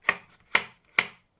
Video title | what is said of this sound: Magical Season by Lenka Filonenko - Colouring Book Review | the card used here is 250 gsm so it's really really thick